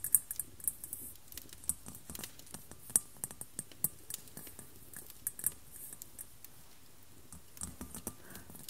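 Long black-polished nails tap and scratch across the surface of a large, hollow, glossy white glass globe crystal ball resting on a paisley cloth, using both hands. Quick, dry, irregular clicks and soft scratching patter are heard, with bright high ticks over a low rustle. Each tap dies away almost instantly, and the sound stays quiet throughout.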